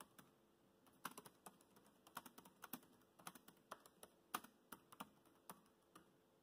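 Fingertips type on a laptop keyboard with black plastic keys, producing a quiet, irregular run of short, crisp taps. Each click is dry and sharp with almost no ring, and some keystrokes land slightly louder than others.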